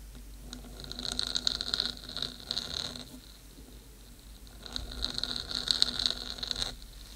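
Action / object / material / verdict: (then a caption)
scrape / metal cylindrical microphone housing / metal / none. Long green glitter acrylic nails tap and scratch the top of the hollow black metal cylindrical housing of a 3Dio binaural microphone mounted on a stand. Two bursts of bright, rapid scraping and tapping carry a high metallic ringing tone, separated by a quieter pause.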